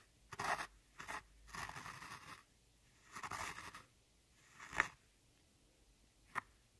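A thin metal-tipped tool scratches and crumbles one glittery brown pan of solid pressed powder in a large, flat eyeshadow palette with round pans, breaking it into loose powder. Bursts of dry, gritty scraping and crunching come in short and longer strokes, separated by quiet pauses and ending with a couple of sharp scratches.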